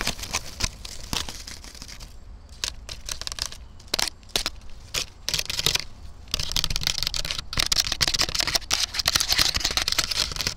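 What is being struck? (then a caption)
Dried corn stalk scratched and tapped with fingernails. Long black nails scratch and tap along a standing dry corn stalk, fibrous and hollow-ish with papery leaf sheaths. Bright, crisp crackling scratches mix with sharp, dry taps that die away almost instantly. A sparser stretch of separate taps gives way to dense, continuous scratching in the final seconds.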